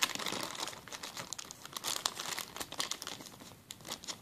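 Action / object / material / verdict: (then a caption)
scrape / plastic zip-lock bag / plastic / none. A clear plastic zip-lock bag is pressed and crumpled under the fingers. It makes a dense run of bright, crisp crinkles and crackles with very little low end. Each rustle cuts off quickly.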